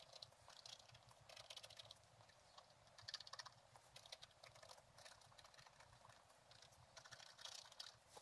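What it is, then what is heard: Scratch-art paper page. A thin wooden stylus scratches along the top edge of a black-coated scratch-art page with a gold underlayer, lying flat in a book. The result is quiet, bright, dry scratching in rapid bursts that swell and fade, with almost no low end.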